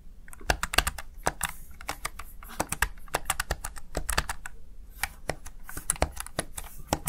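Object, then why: Plastic keypad keys. Fingertips with short nails press and tap the plastic, RGB-backlit mechanical-style keys of a Razer Tartarus Chroma one-handed gaming keypad in rapid typing. A dense run of short, dry clicks with crisp bright attacks sits over a low background hum, each click dying away almost instantly.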